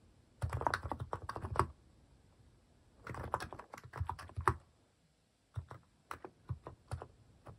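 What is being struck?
Plastic mechanical keyboard with plastic keycaps.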